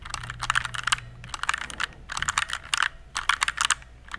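A compact RGB plastic mechanical keyboard, tilted at the end, is typed on with fingertips. Quick bursts of sharp, bright clicks come in clusters, with brief pauses between them and a faint low hum underneath.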